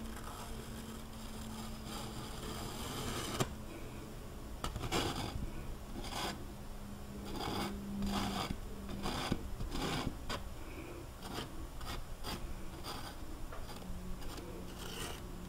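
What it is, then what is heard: Painted canvas panel. A metal palette knife is pulled and scraped down the mountain area of a large, flat canvas panel covered in wet oil paint. It makes a soft, continuous rasping scrape with repeated brighter streaky strokes over a steady low hum.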